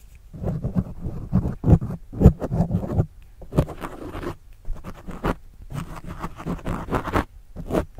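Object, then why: Foam microphone windscreen scratched with a plastic stylus. A white plastic stylus tip scratches and writes across the top and sides of a soft, porous black foam windscreen on a desktop microphone. The result is close, muffled, bass-heavy rubbing and scratching in irregular bursts, with a few sharper strokes that flash bright. The sound pauses briefly in between.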